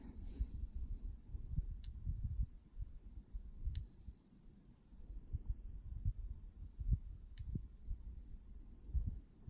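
A real silver Morgan dollar coin is struck three times for a ring test, and each strike gives a clear, sustained high ring that lasts several seconds over low background rumble. The ring is distinct and beautiful, as expected of genuine silver, and clearly different from the suspected fake coin.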